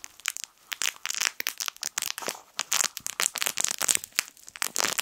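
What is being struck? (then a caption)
Plush fabric crinkle toy with crinkly film inside. A small yellow plush fabric crinkle toy shaped like a sun is squeezed and crumpled with fingers. Dense, rapid bursts of bright, crisp crinkling and crackling come almost entirely in the high range, with no low-end body and very short decay.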